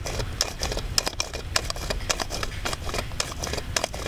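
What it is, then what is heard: Plastic doll head eye-mechanism clicks. An orange-haired Blythe doll with a hard plastic head is held close, and fingers work its eye mechanism. The result is a steady run of sharp, bright plastic clicks and light taps with a low rumble beneath. Each click dies away almost instantly.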